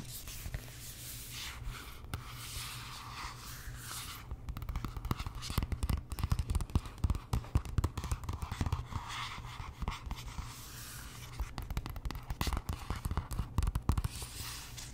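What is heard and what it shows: Fingertips and nails rub and scratch the glossy cardstock cover of a large paperback art book. Soft brushing gives way to dense, crackly scratching with many short, sharp clicks, busiest through the middle of the clip, over a steady low hum. The scrapes stay quiet and dry, each click dying away almost instantly.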